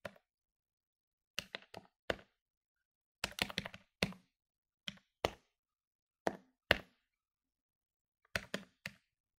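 Fingertips rapidly press the plastic keys of a medium-sized plastic electronic desktop calculator lying on a wooden table. Eighteen short, dry clicky taps come in quick bursts separated by brief pauses, each with a bright attack and almost no ring.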